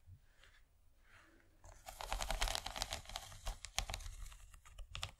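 Long fingernails on both hands scratch and tap the bumpy corn-cob texture of an empty, rigid yellow plastic corn-shaped serving tray. After a quiet, faint opening of about a second and a half, a dense stream of rapid, bright scraping and clicking starts. Sharper taps poke out irregularly until the end.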